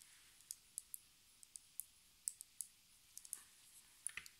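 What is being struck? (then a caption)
Small plastic lip gloss tube. A small square plastic lip gloss tube with a white cap and an orange-brown filled body is held in the hands and tapped and scratched with long red nails. About 16 quiet, sharp, bright clicks ring out at uneven intervals, each dying away almost instantly, over a faint high hiss.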